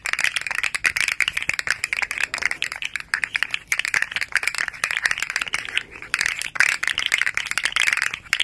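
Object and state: Plastic articulated slug toy, clicking segments.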